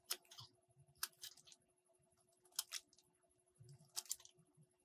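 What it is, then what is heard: Soap bar being cut. A metal box-cutter blade cuts into a solid green soap bar, scraping slices off in four crisp strokes, each followed by a softer scrape. The sound is quiet, dry and bright, with sharp attacks that die away almost instantly over a faint steady background tone.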